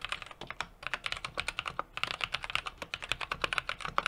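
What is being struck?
Mechanical keyboard with metal case and plate, plastic keycaps.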